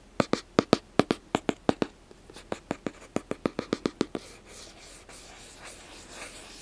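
A small, hollow black cardboard gift box is held in the hands while fingernails tap its sides in 21 quick, dry, hollow knocks over about four seconds, each dying away almost at once. The tapping then gives way to a soft, bright, hissing scratch of nails dragged across the cardboard for the rest of the clip.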